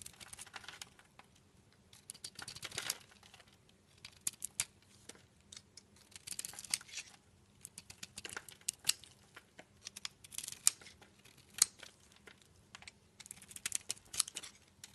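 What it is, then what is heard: Soap bar being carved. A utility knife blade peels and scrapes layers off a solid orange soap bar with a white core held in the palm. The quiet sound is a series of dry, bright shaving and scraping strokes with crisp crackles, each ending abruptly, with almost no low end.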